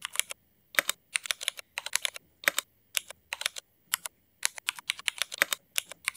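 Fast two-handed fingertip typing on a mechanical keyboard with black ABS plastic keycaps and Cherry MX switches, producing bursts of crisp, bright clicks and clacks separated by short pauses. Each keystroke is sharp and dry, with almost no ring and no low-end thump.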